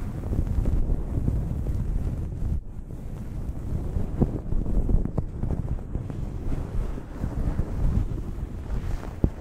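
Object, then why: Cotton terry towel. Long acrylic nails scratch across a blue cotton terry cloth towel draped over a microphone, making a continuous deep, muffled rumbling rustle with almost no high end. Soft, brief scrapes rise and fall within the steady, wind-like texture.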